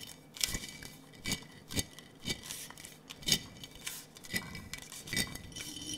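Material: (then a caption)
Glass. A large clear glass jar with a metal lid, partly filled with small blue and clear glass marbles, is held in both hands and shaken so the marbles rattle inside the hollow jar. The result is a series of bright, sharp glassy clinks and chinks in uneven bursts, each dying away almost instantly, with little low end.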